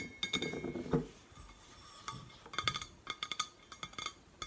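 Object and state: Painted stainless steel water bottle tapped with fingernails.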